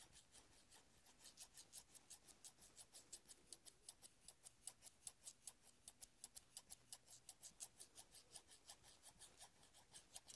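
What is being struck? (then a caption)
Steel scissors. Fingertips rub and rasp along the long blades of large steel scissors with black handles, held open in both hands. About 25 short, bright scratching strokes repeat at a quick, slightly uneven pace over a faint low hum, each fading almost at once.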